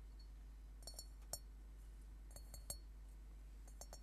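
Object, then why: Upturned metal singing bowl. An upside-down hollow metal Tibetan singing bowl is tapped and scratched with fingernails and tilted on a table. Soft, bright metallic clinks come in small irregular clusters, each ringing only briefly over a steady low hum.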